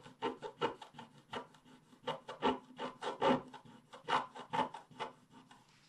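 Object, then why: Coated scratch-art paper scratched with a wooden stylus. A wooden stylus scratches the black coating near the bottom edge of a flat scratch-art paper page with rapid strokes. About twenty short, irregular, dry scraping bursts are heard, each with a raspy midrange tone and no lingering ring.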